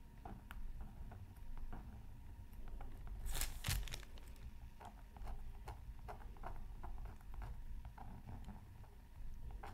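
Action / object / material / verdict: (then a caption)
scrape / coated scratch art card scraped with a wooden stylus / coated paper / none. A pointed wooden stylus scratches a thin black-coated scratch art card from a Mythical Creatures Super Scratch Art Pad, held down by the other hand over tissue paper. Soft, dry scratching strokes repeat quietly over a low background rumble. A louder, brighter pair of scrapes stands out near the middle.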